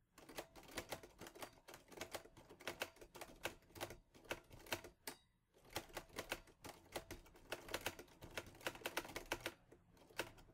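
Fingertips type steadily on the keys of a teal metal Olivetti Lettera 22 portable typewriter, producing quick, dry mechanical clacks with a bright edge. The keystrokes run in a steady stream with a brief pause about halfway through. Each clack dies away almost instantly.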